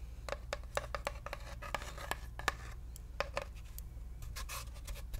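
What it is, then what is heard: Cardboard tube. Long nails tap and scratch an empty, hollow brown cardboard paper-towel roll, making a series of short, dry clicks and light scraping rustles that die away almost instantly. The clicks carry a papery tone around 1.7 kHz with brighter scratchy edges. A steady low hum runs underneath throughout.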